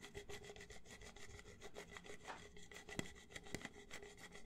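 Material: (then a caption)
Plastic. Fingertips and nails rub and scratch the ribbed outer wall of an empty, hollow red plastic party cup held near the microphone. The result is a quiet, steady run of quick scratchy, rasping strokes with a low-heavy body and a faint hollow ring. A couple of sharper clicks stand out near the 3 and 3.5 second marks.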